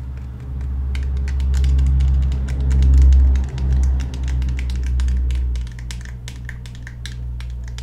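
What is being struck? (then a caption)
Polymer-framed pistol with steel slide. Fingernails tap and scratch the steel slide and polymer frame of a handheld black Glock 17 pistol, making rapid, irregular click-like taps. A steady low hum runs beneath the taps throughout.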